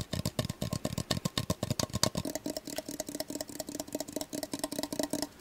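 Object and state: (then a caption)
Measuring cup. A measuring cup is tapped rapidly, about 33 short, dry, clicky taps with a wood-block-like tone. The first two seconds have fuller, lower-sounding taps, and the rest are lighter, with a faint ringing tone.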